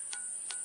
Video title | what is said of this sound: Batu Pemanggil Roh di Situs Gunung Padang, Antara Mitos & Kemajuan Peradaban Masa Lalu (04/09/2021) | Karena di bawahnya kan ada rongga. Gitu. Ada rongga ya. Kosong.